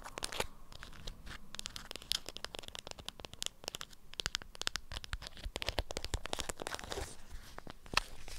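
Long acrylic nails scratch and crinkle the waxed folds of a lemon-print beeswax cloth wrapped around a small item. The result is a dense run of quick, dry, bright crackles and tearing-like crinkles with no ring, at a soft, steady level with a few sharper clicks.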